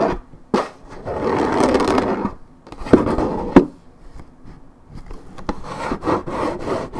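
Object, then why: Paperboard juice carton. A hollow Minute Maid orange juice carton of coated paperboard, tilted in the hand, has its top edge scratched by long nails. Dry, raspy rubbing and scratching sounds come in bursts, with sharp clicks and taps in between.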